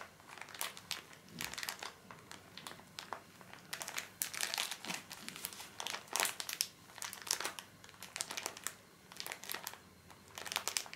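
A small, full pocket pack of paper tissues in soft plastic film is held upright and squeezed and rubbed with fingertips. Its film gives off bright, dry crinkles in short, uneven bursts separated by brief pauses, with almost no low end.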